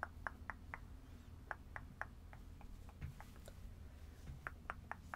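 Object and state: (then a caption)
Plush stuffed toy scratched with nails. Long red acrylic nails scratch and rub the fluffy synthetic fur of a small, soft purple-and-white stuffed plush animal held in both hands, with some fingertip patting. Quiet, dry, clicky taps and scratches with a mid-pitched sound come in an uneven series over a steady low rumble, each dying away almost at once.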